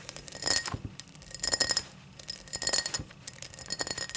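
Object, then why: Cut crystal tall glass tumbler. Long black nails tap and scratch the cut pattern near the open mouth of an empty, tall cut-crystal tumbler lying on its side. The result is bright, quick glassy clinks with very short ring, mixed with dry scraping in uneven bursts.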